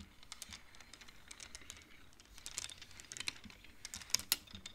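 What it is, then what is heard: Wooden abacus beads clacking. Fingertips of both hands slide the colored wooden beads along the metal rods of a large wooden-framed abacus. The result is a quiet, steady patter of quick, light, bright clacks with no ringing, and a few sharper, louder clacks come near the end.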